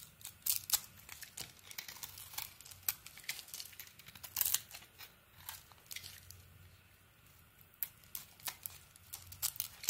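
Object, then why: Soap bar shaved with a metal blade. A metal blade scrapes and shaves thin slices from a solid purple bar of soap with its white interior exposed. The result is a quiet, steady run of crisp, bright scraping and crackling bursts with sharp, short attacks and almost no low end.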